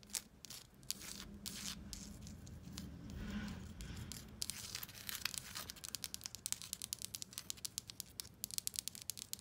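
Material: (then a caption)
Paper. Long acrylic nails scratch across pink embossed paper wallpaper with a raised shell pattern on a solid wall, making a bright, papery rasping for the first few seconds. The nails then switch to quick, crisp taps that click sharply and stop dead, with a faint low hum underneath.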